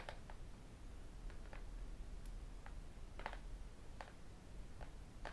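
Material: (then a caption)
Glass, aluminium. A tablet with an aluminium back and a glass screen is tapped on its screen and edges with fingertips and metal rings. Short, light, clicky taps with a mid-range tone come in scattered bursts over a steady low background rumble. Each tap dies away almost at once.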